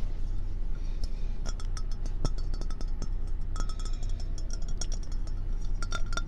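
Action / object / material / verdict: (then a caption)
tap / ceramic fox-shaped mug / ceramic / none. A hand-sized, hollow, empty ceramic mug shaped like a fox, glazed orange and white, is held in the hand and tapped with long painted fingernails on its body, its white feet and its rim. The result is a rapid, irregular run of sharp clicks and short, bright clinks with brief ringing tones, over a steady low hum.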